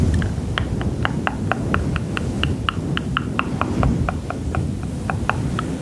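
Long pink fingernails and fingertips scratch and rub a small grey fluffy faux-fur windscreen covering a hollow microphone body. The result is a steady run of quick, evenly spaced brushing scratches with bright, crisp tips over a dense, low, rumbling hiss.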